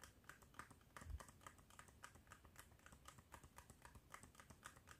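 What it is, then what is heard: Cardboard medicine box. A small, hollow, yellow printed cardboard box of Bach Rescue Remedy packaging, its flaps possibly open, is held in both hands over a wooden desk and tapped and handled with fingertips and nails. A rapid, steady stream of light, dry clicks and taps comes through with almost no ring, and a duller, heavier knock lands around the one-second mark.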